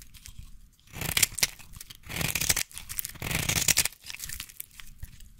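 A solid red bar of soap held in the hand is carved with a small blade and then scratched with scissors. Several bright, crisp scraping and shaving bursts rise and fall between quieter scratching, with a dry, crunchy texture and almost no ring after each stroke.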